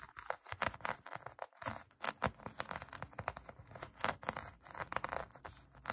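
Long acrylic nails scratch a pink polyurethane foam donut squishy toy, making quiet, rapid, continuous bursts of dry, raspy scratching. The scratching sounds crinkly and papery, centred in the mid range with bright, hissy edges and very little low end. Each stroke cuts off quickly with no ring.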